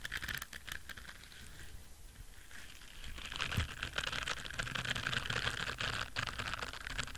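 An orange silicone scrubber brush with rows of soft bristles is scratched with nails and fingertips while held near the face. It makes a dense, irregular patter of bright, crackly scratching with a soft low rumble underneath. The scratching grows louder and busier in the second half.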